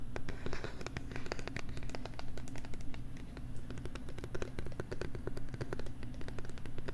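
A stylus or fingernail scratches and writes across the screen of a small, flat, pink-framed plastic LCD writing tablet held by hand right at a binaural microphone. Rapid, dry scratchy ticks and short taps follow one another steadily over a low, constant hum.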